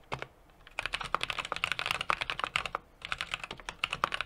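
Fingertips of both hands tap rapidly on the keys of a small 60% mechanical keyboard with an aluminum case, brass plate and plastic keycaps. After a brief tap and a short pause, bright, crisp clicks come in a fast, steady stream, with a short break near three seconds before the typing resumes. Each keystroke is short and dry, with almost no ring or low thump.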